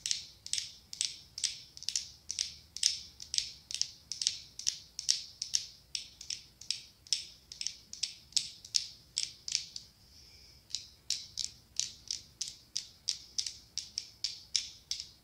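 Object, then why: Small ribbed glass candle jar filled with wax. A small ribbed pumpkin-shaped glass candle jar, filled with orange candle wax and topped with a glass lid, is held in hand and tapped with long acrylic nails. Quick, bright, high-pitched clicking taps come in a steady rhythm, each dying away almost at once. There is a brief pause just before the 10-second mark before the tapping resumes.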